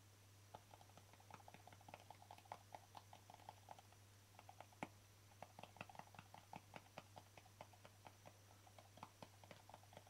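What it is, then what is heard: Plastic jar. Fingertips and nails tap rapidly and irregularly on the embossed lid of a small, hollow white plastic jar with a green label. Each tap is a short, dry, hollow click with a light mid-pitched ring that dies almost at once. A steady low hum and a faint high whine sit underneath the whole clip.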